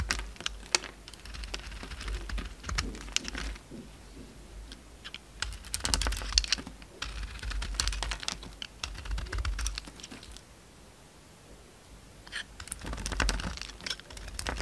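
A utility knife blade chips crumbly flakes off a solid oval bar of soap, green outside and orange inside, held in the hand. Rapid, dry, crackly scraping clicks with bright high edges come in dense bursts over a low rumble, fall quiet for a stretch near the end, then resume.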